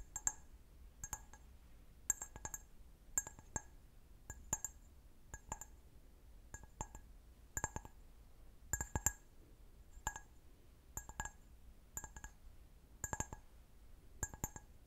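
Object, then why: Empty glass wine glass. An empty, medium-sized clear stemmed wine glass, held sideways, is tapped with fingernails in quick pairs and triplets spaced about a second apart. Each tap gives a short, bright, high-pitched clink that dies away almost at once over a quiet background.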